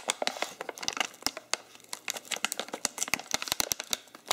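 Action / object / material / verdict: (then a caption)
scrape / foil-lined plastic coffee bag / foil laminate / none. A printed, foil-lined laminated plastic coffee bag filled with ground coffee is held in both hands while its top is unfolded and rolled. The material crinkles and crumples under the fingertips in a dense run of sharp, bright crackles with almost no low end. Each snap dies away instantly.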